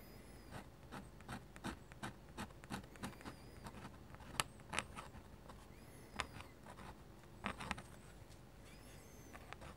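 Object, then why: Paper sheet under a metal-nib pen. A metal-nib dip pen makes about twenty repeated short scratches on flat white drawing paper while hatching foliage. Each stroke is a quiet, brief, dry scratch with a bright edge over a low, steady background hum, and a few strokes stand out louder than the rest.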